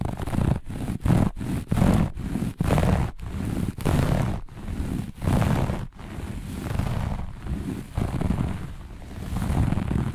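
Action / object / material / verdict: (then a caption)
scrape / looped carpet / carpet fibre / none. Long nails on both hands scratch fast and aggressively across a flat looped grey-beige carpet. The result is a run of dense, rumbling scratch bursts, mostly low in tone with almost no brightness, separated by brief near-silent breaks. The later strokes blur into a steadier rough rasp.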